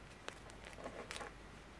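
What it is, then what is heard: Plastic dragon figure scratched with nails. A dark green and black plastic dragon figure with large wings is held over a table and scratched on its body with long, curved natural nails. Quiet, dry scratching comes through with a few brief, brighter clicks and rasps standing out against a soft background hiss.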